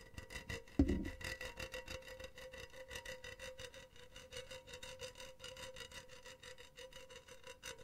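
Long teal nails scratch a hollow, empty, silver wire-mesh cylindrical pen holder, producing a quick, steady series of rasping strokes with a faint metallic hum and bright buzz. A single duller thump stands out near the start, then the rhythmic scratching continues evenly to the end.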